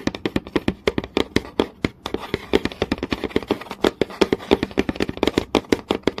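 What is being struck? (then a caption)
Wooden board. Fingertips and long nails tap fast on a flat, solid wooden board with visible grain. Dozens of short, dry, crisp clicks come in a rapid, uneven run, each with a woody midrange knock and a bright tick on top. They die out almost instantly with no ring.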